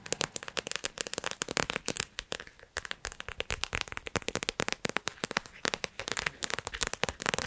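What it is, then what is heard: Plastic gel-bead pouch. A small squishy clear plastic pouch filled with gel water beads, decorated with yellow glitter and blue cartoon eyes, is held in front of the microphone while long acrylic nails press, squeeze and tap it. Dense, bright, sticky crackling snaps come in rapid bursts with very short decay. A few brief quieter gaps break the crackling.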